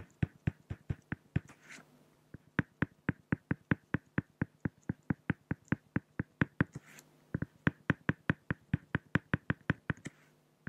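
A pen tip strokes lines across a flat, solid acrylic glass (plexiglass) sheet, producing a rapid series of about 43 short, dry tapping clicks with a low body and bright tops. The clicks run in steady runs, broken by two brief pauses filled with soft scraping.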